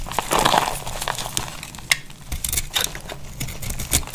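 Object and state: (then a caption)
Dry bar soap being carved. A solid, oval, cream-coloured dry bar soap held in the hand is carved with a utility knife blade, and crumbly chunks break off. The cutting makes dry, crackly scraping and crinkling with short, bright clicks as pieces snap away, over a faint low rumble.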